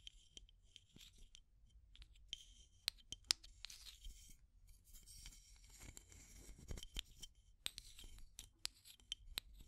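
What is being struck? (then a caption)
Plastic tube container with aluminium screw lid. Long nails scratch and tap the aluminum screw lid of a small, clear, hollow plastic tube container held close to the microphones. Soft, bright scratching runs throughout, broken by sharp, high metallic taps that stop instantly, all at a quiet level.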